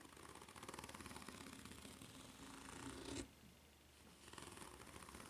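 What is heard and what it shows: Long red nails scratch rapidly across the serrated underside of a white ridged rubber flip-flop sole, making a dense, rattling scrape with a bright, crackly edge. The scratching builds slightly, drops off abruptly to a quieter hush for about a second, then resumes more softly.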